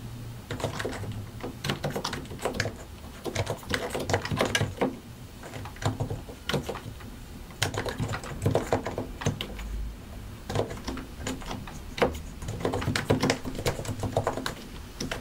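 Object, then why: Plastic mechanical keyboard. Both hands type continuously with their fingertips on a solid white and grey plastic mechanical keyboard, pressing and tapping the keycaps over their switches. Quick, short clacks come in dense bursts with brief pauses between them, each one sharp with a low, hollow thock underneath.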